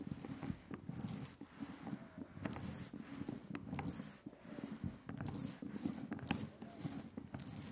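A rubber brayer rolls thick, sticky black printing ink out on a glass slab, close up. The sound is a steady tacky, peeling crackle with low body and repeated bright sticky pops as the roller lifts and spreads the ink.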